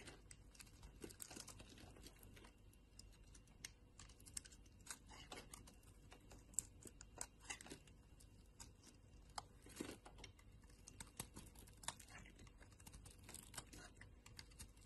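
A solid brown bar of soap held in the hand is shaved into strips with a metal craft-knife blade. Quiet, crisp scraping and shaving sounds come in many short, dry bursts with bright high edges and a soft low rustle underneath, and each stroke stops at once with no ring.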